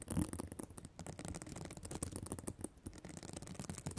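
Long black nails scratch and flip the plastic sequins on the reversible sequin fabric cover of a spiral notebook. The result is a quiet, continuous run of quick scratchy clicks and rustles with a soft low rumble and faint bright sparkle, each tick dying away almost at once.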